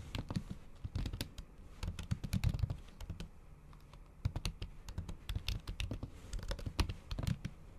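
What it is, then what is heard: Laptop keyboard with plastic cover, typed with nails. Long acrylic nail tips type in fast, repeated taps on a MacBook keyboard covered by a thin pink patterned plastic/silicone cover over solid keys. Each tap is a short, dull, low thud with a brief bright click, and the taps come in quick bursts with small pauses between them.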